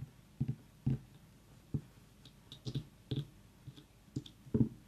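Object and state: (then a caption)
Mini pumpkin tapped with fingernails. Long nails tap and knock on the ribbed skin of a tiny whole orange mini pumpkin, which is briefly tilted. The result is a scattered series of short, dull, low hollow knocks with light clicky edges, each dying away almost instantly between quiet gaps.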